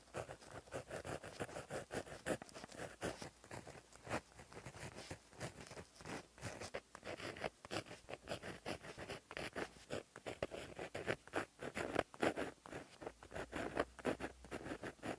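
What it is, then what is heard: Pen writing on a notebook page. A plastic-barrel gel pen with a metal tip, held in the fingers, writes across a flat black lined paper notebook page lying as a solid sheet on a surface. The tip scratches along the paper in a steady run of quick, dry, papery strokes for about 15 seconds. The strokes are centered in the midrange around 670 Hz and have almost no ring.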